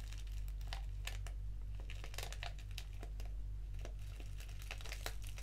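A small, flat, foil-lined paper sachet of Organic English Breakfast black tea is squeezed and crinkled between fingertips and long nails. Dense, irregular crinkling and bright crackles overlap continuously above a steady low hum.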